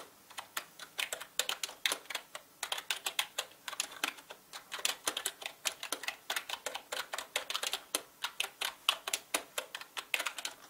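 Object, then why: Mechanical keyboard with plastic keycaps. Fast fingertip typing on a full-size black mechanical gaming keyboard with plastic keycaps and a hollow plastic body. It makes a steady stream of bright, sharp clicks with almost no low end and very short decay. The rapid keystrokes run continuously with only brief pauses.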